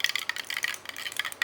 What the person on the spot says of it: if you can hear, it does have a rattle ball in there